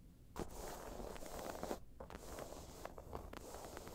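A round tan crocodile-embossed faux leather bag is scratched and tapped with long pointed nails. The result is a steady dry scratching texture broken by several short, sharp taps that die away quickly.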